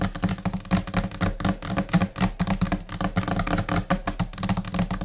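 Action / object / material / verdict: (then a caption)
tap / laminated particleboard desk top / laminate / none. Long painted nails on both hands tap rapidly and irregularly across a large, flat, solid white desk top, likely laminated particleboard. The result is a dense stream of short, dry clicks with a low, hollow thud around 180 Hz and almost no ring.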